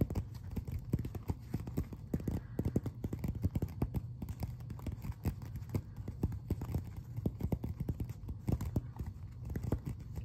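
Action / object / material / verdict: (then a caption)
tap / glossy paper magazine cover / coated paper / none. Fingertips and nails scratch and tap across the glossy front cover of a closed paper magazine, then the magazine is held up. Dense, quick taps and scratches sound soft and dull, with a low thump under each touch and little brightness, and they stop short with no ring.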